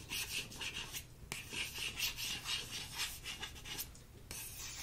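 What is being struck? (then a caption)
Printed paper greeting card. A fingertip and short nail trace and scratch across the printed surface of a thin, flat paper thank-you card, dark navy with a floral border and "Thank You" script, held in one hand. Soft, bright rubbing and raspy scratching strokes repeat at an uneven pace, with a brief pause before the scratching resumes.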